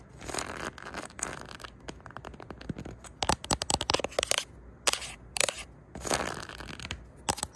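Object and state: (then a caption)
Cardboard record sleeves. Long neon-tipped nails scratch and flick across the edges of a tightly packed row of cardboard LP record sleeve spines on a shelf. The result is dry, crackly scratching broken by sharp, bright flicking snaps in quick bursts with almost no ring.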